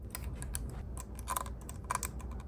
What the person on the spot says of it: Can you hear how crusty it sounds in there? Because you can shake this meter and you can hear stuff floating around.